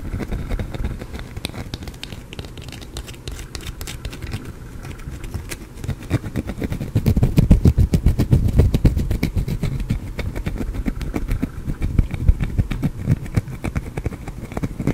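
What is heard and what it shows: A small, solid green soap bar is scratched with fingernails and picked at by hand, giving a dense run of quick, dry scratches and crackles with a heavy low-end body. The scraping grows louder and busier around the middle, then settles back to a steady scratching.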